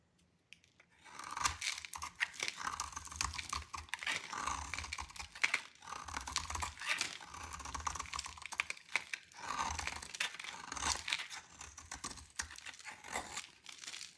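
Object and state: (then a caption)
Dry bar soap. A palm-sized solid white bar of dry soap is held in the hand while its edge is scraped repeatedly with a metal utility knife blade, shaving off powdery, crumbly flakes. The sound is a dense, bright, dry crackling and crunching scrape that comes in rapid, overlapping strokes for the whole clip, with soft low rumbles underneath.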